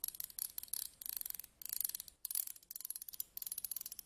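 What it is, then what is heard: Metal tweezers. Slim metal tweezers stand upright, tip-down on a table, while a thin pointed stick scratches along their ridged grip. Bursts of rapid, dry, bright clicks and rasps sound in quick runs separated by short pauses, with almost no low end and no ringing.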